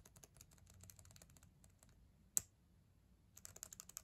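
Long acrylic nails type on the plastic keys of a black ThinkPad laptop keyboard, making quick, bright, clicky taps in a steady run. The typing thins out and pauses, broken by one louder, sharp click. A final fast burst of taps follows.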